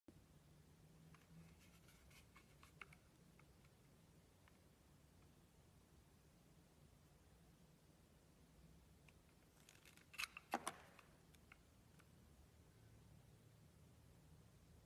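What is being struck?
Glycerin soap bar.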